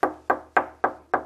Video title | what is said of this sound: How to buy doors that don't suck... (info-dense episode) | you hear that difference that's a solid core